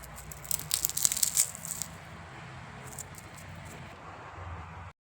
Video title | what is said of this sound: धनत्रयोदशीच्या दिवशी कोणकोणत्या वस्तुची खरेदी करावी👣🪔-किराणा केला सर्वांत आधी चिवडा केला🥰- | लायांचा आवाज पण असा खूप कुरकुरीत आवाज येतो